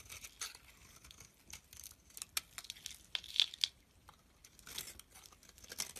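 A box-cutter blade shaves flakes off the surface of a solid white Simple bar soap held in the palm, scraping and cutting into it. Quiet, bright, dry scraping and crisp crackling ticks come in short bursts, with a few sharper clicks near the middle. The sound is almost entirely high with no low body.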